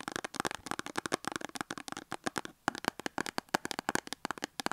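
Long acrylic nails rapidly tap and scratch a small cardboard soap box with a soap bar inside, standing on a table. A dense stream of quick, dry, papery clicks and short scratchy strokes follows with almost no low end and no ring, pausing briefly partway through before resuming.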